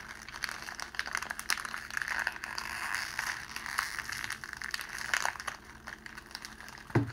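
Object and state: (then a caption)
Clear cellophane sheet crinkling. A pleated clear cellophane wrapping sheet around a rose is held in both hands while the fingers crush and stretch it. Dense, bright crinkling and crackling runs throughout over a faint low hum, ending in one louder crunch.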